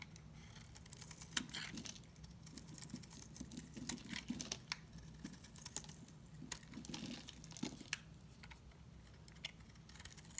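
A utility knife blade scrapes a hand-sized, solid green and white marbled bar of dry soap held in one hand, shaving off curls. The clip is a steady run of quick, crisp, bright scratching ticks and rasps, each dying away almost instantly. A faint low hum sits underneath throughout.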